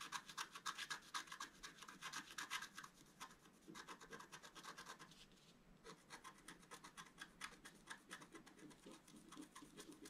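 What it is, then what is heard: Scratch-art paper card being scratched. A wooden stylus scratches dense strokes across a thin, solid, flat black-coated scratch-art paper sheet held by one hand. It makes rapid, dry, bright scratching strokes at an uneven pace, louder over the first few seconds and softer afterward, with a brief lull around the middle.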